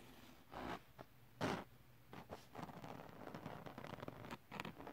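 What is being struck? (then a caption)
Glitter paper sheet. Fingertips and nails scratch a flat, solid sheet of silver holographic glitter paper or card lying on fabric, and a flat palm rubs across its textured glitter surface. Short, scratchy rasping bursts come first, then give way to a steadier run of gritty rubbing and scraping.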